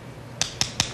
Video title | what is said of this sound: 超視食在有健康第366集part4這樣吃讓小孩高人一等 | 因为这个是扎实的声音啊，很扎实，没死